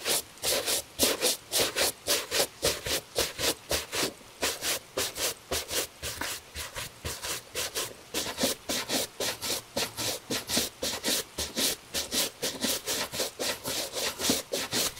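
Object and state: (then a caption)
Leather shoe being brushed. A gloved hand rapidly brushes the upper of a tan leather cap-toe Italian shoe, with a shoe tree inside, using a horsehair brush. About 32 quick, dry, bristly swishes come in a steady back-and-forth rhythm, each a bright, hissy rub with little low end.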